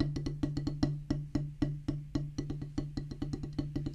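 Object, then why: Rubber drum practice pad on a wooden base. Two wooden drumsticks tap fast on a solid black rubber practice pad set on a wooden base. About two dozen dull, woody knocks land in an uneven, quick rhythm. Each has a low thump and a short, damped ring that fades quickly.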